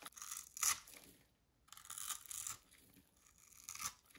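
A thin metal needle scratches and scores grid lines into the surface of a pink rectangular bar of dry solid soap held in a hand, with crumbs falling away. Dry, crisp scraping strokes come in bursts of bright, high-pitched rasping with almost no low end, broken by a short silent pause and a few louder scrapes.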